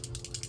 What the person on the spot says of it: it has that little ball thing in there